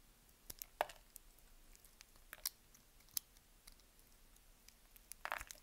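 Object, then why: Bar of soap cut with a small knife. A small knife slices scored cubes off the surface of a solid, dry green bar of soap held in the hand. Crisp, short cutting clicks and crunches with a bright top end stand out sharply against a quiet background, with a brief cluster of rapid strokes near the end.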